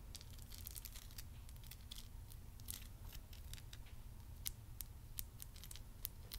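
Long nails tap and scratch the purple crystals of a solid amethyst crystal cluster, seen up close and then held in the hand. Quiet, rapid, bright clicks and scrapes sit over a steady low rumble, each tick dying away almost at once.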